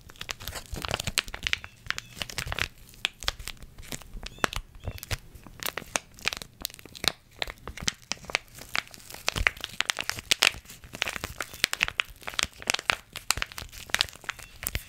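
A small, full red foil-laminate face mask packet is crinkled, squeezed and tapped with long red nails. Dense, bright crackling and sharp, dry clicks come in quick irregular bursts, each snapping off almost instantly. The sound is mostly high and crisp, with little low end.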